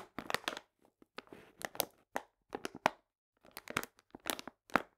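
A full paper cane sugar bag, held upright, is pressed and crinkled with fingertips and long nails. Bursts of dry, bright crinkling and crunching come in irregular clusters separated by brief silences, with each crackle cutting off sharply and little low-end weight.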